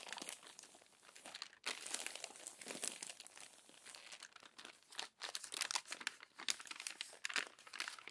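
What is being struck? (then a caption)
Glossy paper magazine. Crumpled pages of an open glossy paper magazine are smoothed flat with the palm and turned with the fingertips. Dense, bright crinkling and rustling continue throughout with almost no low end, broken by two brief near-silent pauses at about 1.6 and 5.1 seconds, before sharper crackles return.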